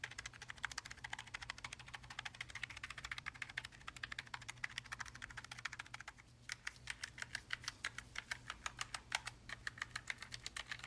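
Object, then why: Mechanical keyboard with plastic keycaps on an aluminium plate. A gloved fingertip presses and taps individual keys on a black low-profile tenkeyless Logitech G915 TKL linear mechanical gaming keyboard, with plastic keycaps on an aluminium top plate, lying flat on a red surface. Dozens of quick, bright, dry clacks follow one another with almost no ring, over a faint steady low hum. There is a brief lull around the six-second mark before the tapping resumes.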